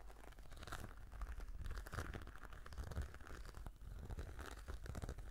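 Long nails scratch across a black glossy embossed patent faux-leather brush case, making a steady, soft crinkling and scraping with quick rough strokes. The sound is quiet and dense, with most of its weight in a low rumble and only faint bright edges.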